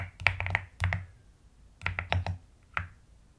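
Long nails tap and type with both hands on the plastic keycaps of a pastel mechanical keyboard. Quick bursts of crisp, bright clicks over a soft low thock come in two clusters, with a short pause between them and a final lone tap. Each keystroke ends dry, with almost no ring.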